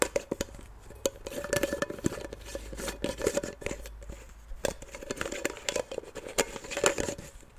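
A small, hollow blue Nivea plastic cream jar is held in one hand while fingertips and long nails twist and tap its silver metal screw lid, opening and closing it. The result is a quick run of short, dry clicks and taps with a faint hollow ring around 500 Hz, mixed with soft scraping of the threads. The clicks die away almost instantly.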